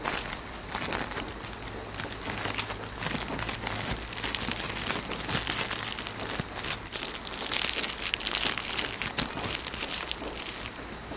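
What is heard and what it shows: A thin, shiny, hand-sized red plastic cellophane wrapper sheet is crumpled and crinkled between the fingertips of both hands right in front of the microphone. It makes dense, continuous, bright crackling and crinkling that swells and eases over about eleven seconds.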